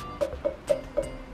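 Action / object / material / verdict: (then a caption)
knock / emptied pumpkin / pumpkin rind / hollow. A pumpkin emptied of its pulp for Halloween carving is tapped four times. Each tap gives a short, hollow knock with a resonant tone around 535 Hz that dies away almost at once, confirming the pumpkin is empty inside.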